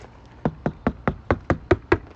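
Eight evenly spaced knocks on the front left outer door skin of a Tesla Model 3 SR+ after RoadStage Audio damping material was installed on its sheet metal. Each knock is a short, dull thud that dies away almost instantly with no metallic ring. The sound-deadened door sounds quite solid.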